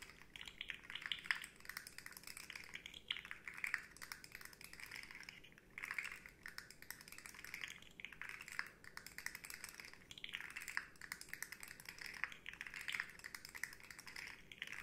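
Long nails tap rapidly along the hollow segments of a rainbow, hard plastic articulated slug fidget toy held upright. The result is a quiet, continuous patter of dry, bright clicks that die away almost instantly, coming in dense runs with a brief lull partway through.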